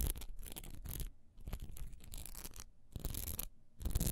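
Long nails scratch quickly across the bumpy, textured side of a single solid wax pillar candle held horizontally in the hand. The result is bursts of dry, raspy scratching with a bright, hissy edge and a heavy low rumble, separated by short quiet pauses.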